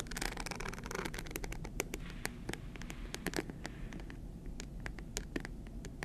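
A small rectangular hard-shell clutch purse shaped like a stack of bills, covered in green, white and gold glass-like rhinestones and likely hollow, is held upright in both hands and scratched with long green acrylic nails. A steady stream of quick, crisp scratches and sharp bright ticks plays over a low, dull background rumble, with each tick cutting off almost instantly.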